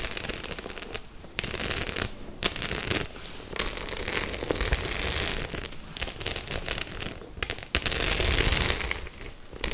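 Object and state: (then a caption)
Studded faux-leather clutch bag. Long nails quickly scratch and tap over the metal studs of a white studded faux-leather clutch bag. The result is a dense, irregular stream of crackling clicks and scrapes, with bright hiss swelling in bursts between quieter stretches.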